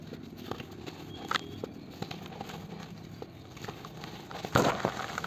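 Gloved fingers squeeze and crumble a palm-sized solid chunk of dry cement over a blue bucket filled with cement powder, and dusty crumbs pour from the hands. Quiet dry crackles and gritty crunches come in scattered snaps, ending in a louder, denser crunching burst near the end.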